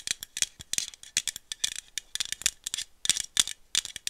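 A small aluminum iced-coffee bottle, held in one hand, is tapped with long nails along its body and cap in a quick, uneven run of about two dozen sharp clicks. The taps give a bright, dry rattle centered near 3.4 kHz, with almost no low end, and each one dies away almost at once.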